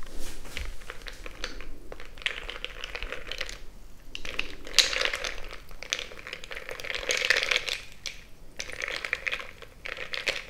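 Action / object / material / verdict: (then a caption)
scrape / glass jar mug with crushed ice, stirred with a bamboo stick / glass, ice / none. A bamboo stick is stirred and poked into a frosted glass mason-jar mug full of crushed ice. It gives continuous scraping and crunching with bright, gritty crackles over a low rumble, rising and falling in dense bursts throughout.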